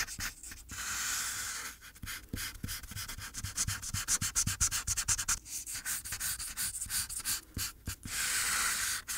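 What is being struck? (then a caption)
Felt-tip marker on a paper sheet. The felt tip of a red marker rubs across a thin white paper coloring sheet resting on a dark board, in short, fast back-and-forth strokes while coloring an apple. A bright, dry scratching hiss pulses at about four strokes per second, with longer, smoother rubbing passes near the start and end.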